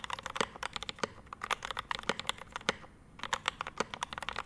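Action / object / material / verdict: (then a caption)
tap / mechanical keyboard with ABS keycaps, brass plate and metal case / plastic, metal / none. Both hands type continuously with their fingertips on a Rama M65-B 65% mechanical keyboard resting on a desk mat. The keyboard has a dark metal case, ABS keycaps, a PVD brass plate and Mint Panda linear switches. The result is a rapid, uneven stream of short, crisp clacks with a mid-range thock near 500 Hz and bright high clicks, each dying away almost instantly.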